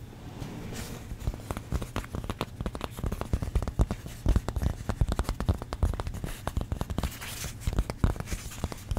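Long pink nails scratch and tap the surface of a hand-sized stack of thin, solid orange craft foam pumpkin-shaped cutouts. Quick, dry, closely spaced taps and scratchy rustles follow one another with little ring. The sound is soft, dull and low-heavy throughout.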